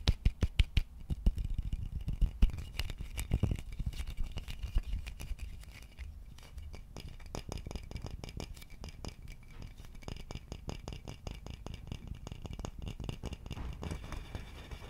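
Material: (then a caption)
Wood. Fingertips tap and scratch on the body and neck of an empty, hollow wooden vase. Rapid, dull, hollow knocks with little ring start loud and uneven, then settle into a steadier, softer run of tapping and light scratching.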